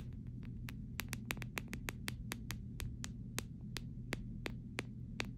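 Several short fingernails tap quickly across the back of a clear plastic phone case, making a fast, irregular run of sharp, bright clicks that stop almost instantly. A steady low hum sits underneath throughout.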